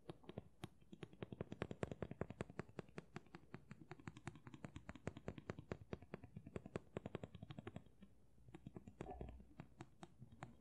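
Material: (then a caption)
Steel. Fingers and nails tap on a steel chef-style knife with a riveted wooden handle, held in both hands. The rapid, dry clicks are short and low-weighted with little ring, then pause briefly near the end before a soft scrape and a few final taps.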